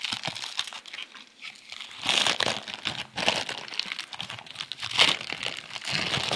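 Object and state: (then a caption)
Thin plastic bag being crumpled around a rice roll. Fingertips of both hands squeeze and rub a thin, clear plastic bag wrapped tightly around a hand-sized rice roll (fan tuan), held above a plate of breakfast food. Dense, bright crinkling and crumpling fills the clip in bursts, with louder surges around the two- and five-second marks and almost no low end.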